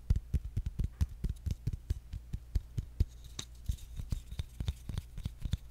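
Fingertips tap rapidly and irregularly on the flat top of a round, engraved, palm-sized bamboo jar lid held up in the air. Each tap is a short, dull, low-pitched knock with a faint bright click and almost no ring, set over a steady low background hum.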